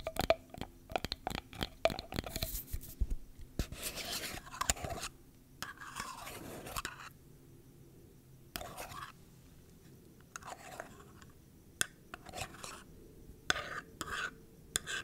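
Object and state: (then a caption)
Metal tin container. Long dark-painted nails scratch and tap the lid and sides of a small round metal tin with a paper label, held in the hands. Quick, sharp clicking taps mix with bright, rasping scrapes that come in bursts, separated by brief quiet pauses.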